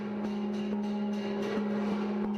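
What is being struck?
Nothing is struck.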